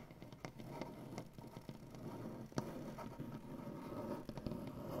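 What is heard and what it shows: Both hands scratch and tap a solid light wood butcher-block tabletop with dark-painted nails. A steady, low, dry scratching rustle runs throughout, broken by short, sharp taps that die away instantly.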